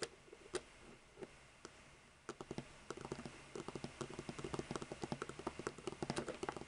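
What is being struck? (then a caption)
Row of plastic marker caps. Long nude-polished fingernails tap and scratch across the caps of seven identical hollow plastic Copic markers lying in a row on a white table. A few sparse, dry plastic ticks give way after about two seconds to a quickening run of short clicks, some 34 in all, with a faint scratchy hiss between them. Each tap is crisp, light and dies away almost instantly.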